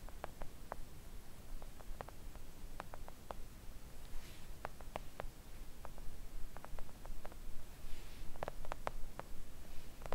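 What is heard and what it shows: Long acrylic nails tap a flat, thin, solid pink silicone nail art mat with both hands. The result is quiet, soft, short clicks in an uneven, fairly quick rhythm over a steady low rumbling background hum.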